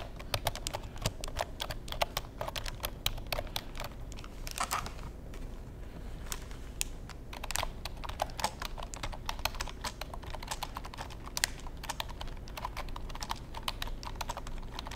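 Fingertips tap and type on the keys of a black plastic computer keyboard, making a rapid run of short, bright, dry clicks. The clicks come in uneven bursts with a brief lull near the middle, over a steady low hum.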